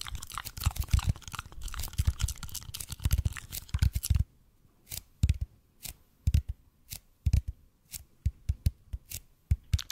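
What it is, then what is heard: EPP foam roller, scratched and tapped. A large red-and-white speckled expanded polypropylene (EPP) foam massage roller, cylindrical and held horizontally in both hands, is scratched and tapped by fingertips and nails across its textured bead-foam surface. For the first four seconds there is dense, continuous, rustling scratching with dull low thumps. It then gives way to separate short scratches and taps with quiet gaps between them, each a soft, low, dry knock that dies away almost at once.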